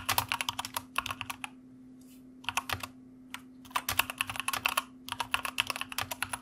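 A white plastic mechanical computer keyboard is typed on with the fingertips of both hands, producing rapid bursts of sharp, bright, clicky keystrokes separated by short pauses. Each click is crisp and dies away almost instantly, while a faint steady low hum continues underneath.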